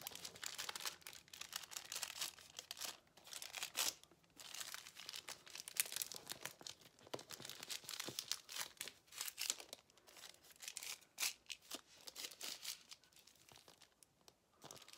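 A thin white paper sheet, rolled tightly into a thin tube, is twisted and stretched between the fingers, crinkling and rubbing the paper. The sound is a quiet, bright, dry crackle that comes in dense bursts with short pauses and has almost no low end.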